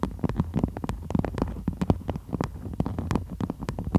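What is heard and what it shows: Long almond-shaped nails tap and scratch a stiff, floral waxed cotton beeswax food wrap laid over the mic, shown in close-up. A rapid, uneven run of short, dull thumps with a low, muffled body comes through, with faint crinkly scratches between them. Each tap dies away almost instantly.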